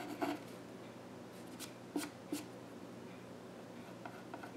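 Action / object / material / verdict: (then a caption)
scrape / graphite pencil on a solid wooden stool top / wood / none. A graphite pencil held in the hand scratches sketch lines across the flat top of a solid, dark-stained wooden child's stool. Four short, dry scratching strokes stand out above a quiet, steady background hum, each a brief bright rasp that fades quickly.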